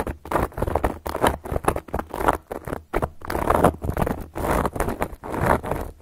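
Long gold metal claw nail caps scratch and trace across a solid, round, flat cork board. A run of short, dry, rasping strokes comes in quick bursts, mostly in the midrange with little bright top. A faint steady low hum sits underneath.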